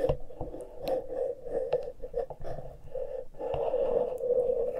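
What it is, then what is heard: Fingertips scratching metal microphone grilles. Fingertips and nails scratch and pinch the exposed metal-grille X/Y microphone capsules on a small handheld Tascam recorder. A close, dense rasping scrape with a steady midrange hum runs throughout, broken by sharp clicks and brief bright ticks. It dips for a moment, then swells into a louder, continuous scratching at the end.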